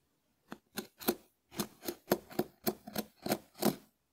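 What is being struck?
Dried konjac sponge.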